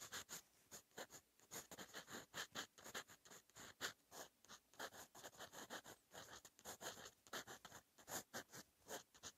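A silver steel fountain pen nib, held in the fingertips, writes Korean handwriting across a lined cream paper notebook page lying flat and solid against a surface. Quiet, dry, bright scratches come in a steady run of short, separate strokes with brief gaps between them and almost no low end or ring.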